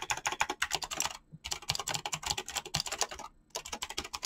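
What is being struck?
Mechanical keyboard with plastic keycaps.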